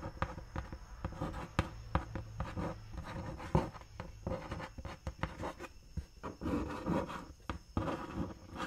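Long nails scratch and tap the printed side of a large, hollow, closed brown cardboard Dr. Martens shoe box held close to the face. Dry, papery scratching and rubbing runs throughout, broken by repeated sharp, quick taps that carry a low, hollow thump from the box. The taps die away almost instantly.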